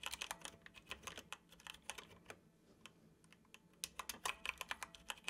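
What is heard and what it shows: Fingertips of both hands tap the hollow keys of a dark plastic computer keyboard in steady typing. The result is a run of quick, bright, dry clicks that thin out into sparser, softer taps midway before a louder burst resumes.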